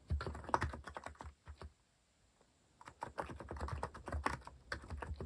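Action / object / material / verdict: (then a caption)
tap / plastic mechanical keyboard / plastic / none. Fast, dense fingertip typing on a compact mechanical keyboard with a white plastic case and plastic cat keycaps. It makes quick, clacky keystrokes with a low thump under each press and very short decay. One burst of typing comes first, then a brief pause of near silence, then the typing picks up again.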